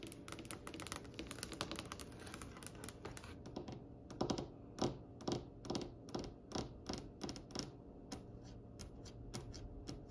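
Long nails tap the glossy, varnished, solid brown wooden top of a polished dark wooden table. For about the first four seconds the taps come in a fast, dense flurry of bright clicks. After that they slow into distinct, separate knocks with a short, woody, low-mid body and a quick decay.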